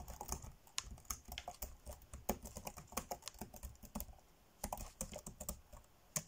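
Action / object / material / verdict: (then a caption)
tap / plastic laptop keyboard keys / plastic / none. Fingertips tap quickly on the dark grey plastic chiclet keys of a laptop keyboard, typing fast. The result is a rapid stream of short, dry clicks with bright clatter and a soft low thud under each press, dying away almost instantly, with brief pauses between bursts.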